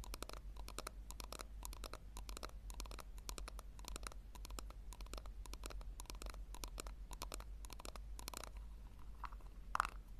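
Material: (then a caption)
Plastic. Long nails scratch the sides and base of a small, hollow pink plastic tub in quick, dense bursts. The strokes sound dry and bright over a steady low hum, and a sharper, louder tap lands near the end.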